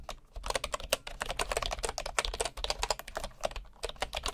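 Fingertips of a right hand type steadily on a bamboo wooden computer keyboard. A fast run of short, dry, woody clicks with a hollow midrange knock and bright tick tops, each key stopping almost instantly over a faint low rumble.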